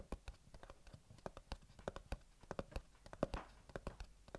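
Fingernails scratch, tap and trace across the printed top of a small, closed, hollow white cardboard earbuds box held in the hands. About two dozen quiet, dry, irregular clicks and soft scratches land over four seconds, each with a low hollow thump and a brief midrange tick that dies away at once.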